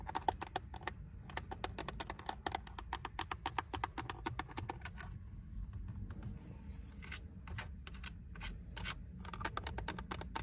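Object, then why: Hard plastic car steering wheel hub. Long pink acrylic nails tap and scratch across the centre of a Honda steering wheel: the hard plastic airbag cover with its badge and the silver plastic spoke trim, fixed in place. Rapid, dry, clicky taps with no ring come in quick bursts, giving way mid-clip to a softer, brushing scratch before the tapping returns. A steady low rumble sits beneath throughout.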